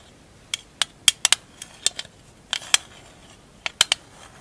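A small, hollow printed metal tin with a lid, labelled "160 Marbles," is held in the hands and tapped and scratched with long acrylic nails. About a dozen sharp, bright metallic taps come in irregular bursts over a quiet background. Each tap is high-pitched and tinny and dies away almost at once.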